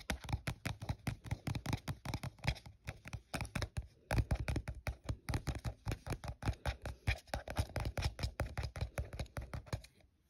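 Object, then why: Thin plastic cup. Short fingernails scratch and tap the printed side of an empty, hollow, translucent printed plastic cup held in a hand. The result is a rapid, steady run of dry, hollow taps and scratchy strokes. Each one carries a dull low thump and dies away almost instantly, until the sound stops just before the end.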